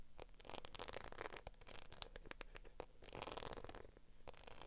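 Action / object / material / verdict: tap / embossed patent faux leather handbag / faux leather / none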